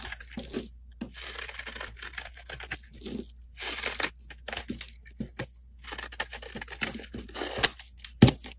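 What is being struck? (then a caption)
Bar of soap scraped with a metal blade. A solid light-blue oval Avon soap bar, held in the hand, is scraped with a flat metal blade, and chips and powder break away. Repeated short, dry, crackling scrapes come in bursts separated by brief pauses. The clip ends with a sharper, louder crack near the end.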